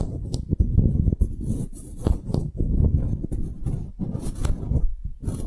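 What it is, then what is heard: Wooden block tag. Long nails tap and scratch a solid engraved wooden block tag turned at an angle. Quick, dull taps mix with dense scratching that stays low and muffled, each tap dying away almost at once.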